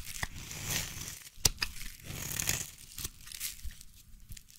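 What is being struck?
Bar of soap.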